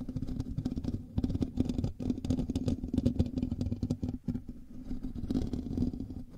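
Fingernails of both hands scratch the hollow metal mesh grille of a black microphone, producing a dense, rapid scraping and rustling that is heavy in the lows, with a steady tonal hum around 240 Hz. The scratching continues with brief pauses near 2 and 4 seconds, then carries on more softly to the end.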